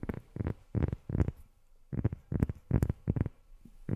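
A rubber sheet is tapped with long fingernails, producing about 11 soft, dull thuds in an uneven rhythm with a short pause in the middle. Each tap is deep and muffled with a faint bright click at the start and almost no ring, dying away at once.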